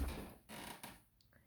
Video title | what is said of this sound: Dark Brown Cristofori Standard Piano | if you knock on it it's wood